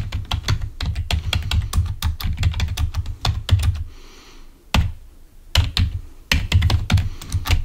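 A full-size, wired black plastic Microsoft membrane keyboard lying on a white table is typed on rapidly with the fingertips of both hands, producing about thirty short, dull key clicks with a deep thump underneath and a brief bright tick on top. The typing pauses for under a second near the middle, leaving only a faint high hiss, then resumes in quick bursts.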